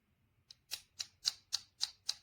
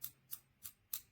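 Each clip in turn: First: plastic clip back plate. Second: anodized aluminum camera clip body, metal.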